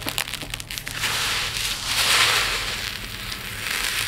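Hands rake through a pile of tiny multicolored resin diamond art drills in a dark plate, making a quick run of sharp, dry clicks and rattles. Then they scoop up a handful and pour a steady stream back onto the pile, giving a bright, continuous pattering hiss with almost no low end.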